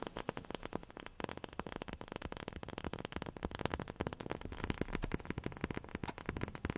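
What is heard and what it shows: A wooden object is tapped rapidly with long fingernails, producing a dense, continuous patter of short, dry clicks. The taps are quiet and woody with little ring, weighted toward the low end with a faint crackly edge.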